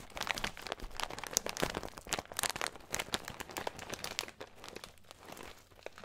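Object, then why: Plastic bag of nuts. Fingertips crinkle and squeeze a small clear plastic bag with a green label, full of nuts. The result is a dense run of sharp, bright crackles and crunches that rise and fall in loudness, with the nuts shifting inside.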